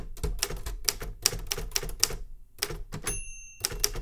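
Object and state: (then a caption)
Metal manual typewriter. Fingertips tap the keys of a metal manual Remington Super Riter typewriter, giving a quick run of about eleven crisp, bright keystrokes with a low thump under each. Near the end, a clear ringing tone sustains briefly before the typing resumes.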